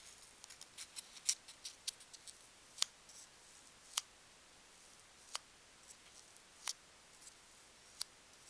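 A single small, solid, S-shaped polystyrene foam packing peanut is squeezed and rubbed between the fingers while long nails scratch it. About thirteen short, sharp, bright squeaks and scratches stand out, with faint, high crinkling between them. The sounds are quiet, with no low end.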